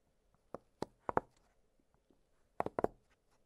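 An octagonal blue silicone push-pop fidget toy has its hollow bubbles pressed and popped with two fingertips. Six short, dry, mid-pitched pops come quietly in two clusters: three, a pause of over a second, then three more. Each dies out almost instantly.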